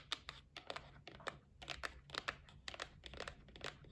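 Long nails tap the top of a white cardboard gift box resting on a table. The result is a quick, irregular run of quiet, bright, dry clicks with a light papery crinkle, each dying away almost instantly over a faint low hum.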